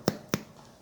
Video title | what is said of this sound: Como hacer pan rústico con avena en la superficie una receta fácil para practicar en su hogar. | Le damos un golpecito tanto por arriba y por abajo y suenan bastante huecos